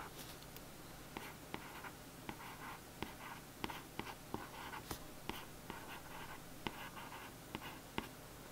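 Soft, dry scratching strokes with small sharp ticks, a fine tip dragged across a glossy cardboard book cover.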